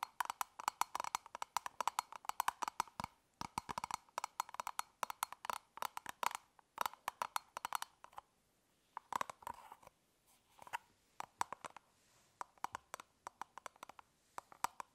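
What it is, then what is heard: Plastic toothbrush travel case. Long nails tap rapidly on the top of a closed, elongated, hollow hard-plastic toothbrush travel case, then the case is lifted and held in both hands. The sound is quick runs of dry, hollow clicks with a woody tone around 950 Hz that die away almost instantly. A quiet handling pause comes around the eight-second mark, followed by sparser tapping.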